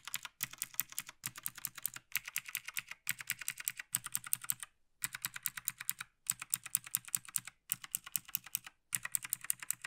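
Gloved fingertips tap the arrow and navigation keys on the right side of a black plastic Logitech G PRO TKL tenkeyless mechanical gaming keyboard. The taps come as rapid runs of bright, dry, clicky keystrokes, broken up by brief pauses, with no lingering ring.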